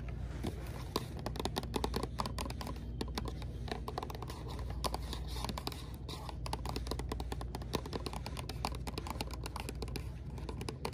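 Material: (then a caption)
Cardboard. A small green Aveeno cardboard box with a product inside, hollow, is held in hand and tapped and scratched with long acrylic nails. Rapid, light clicking taps mix with dry scratching over a steady low hum, and each tap dies away almost at once.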